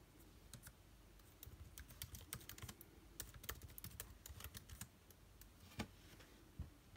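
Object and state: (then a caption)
Laptop keyboard typing. Both hands type with their fingertips on the plastic keycaps of an aluminium-bodied laptop keyboard. The result is bursts of quick, light, bright clicks over a low background hum, each dying out almost at once. Louder taps stand out now and then.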